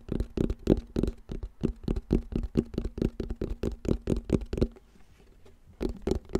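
Fingertips tap and patter quickly on the hollow black plastic back panel of a round wall clock, making dull, low, hollow knocks that die away almost at once. The rapid, uneven tapping stops briefly near the five-second mark, leaving only a faint low hum, then resumes for a few more taps.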